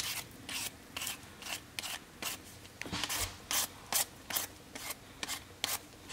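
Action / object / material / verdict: scrape / raw potato scraped with a vegetable peeler / potato / none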